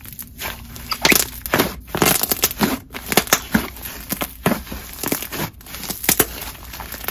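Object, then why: Soft fluffy slime. A large soft mass of brown fluffy cloud slime, a chocolate croissant slime, is pressed, squished and stretched apart by both bare hands with fingertips and palms on a white table. It gives a steady run of bright, crackly crunching and sticky popping bursts over a soft hiss, each snap dying away almost instantly.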